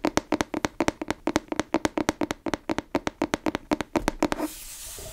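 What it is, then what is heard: Cloth-covered hardcover book. Long nails and fingertips tap rapidly on the cover of a grey fabric-covered hardcover book or notebook held upright. Each tap is a short, dry knock with a low-mid hollow tone and a bright click, dying out almost instantly. After about four and a half seconds the tapping stops, leaving a soft, bright hiss.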